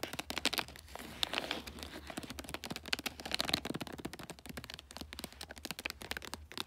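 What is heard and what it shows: Long nails scratch and tap the flat top of a rectangular gift box wrapped in glossy bulldog-print paper. Many quick, dry, bright taps and crinkly scratches come in dense bursts. Each is sharp and dies instantly, with almost no low end.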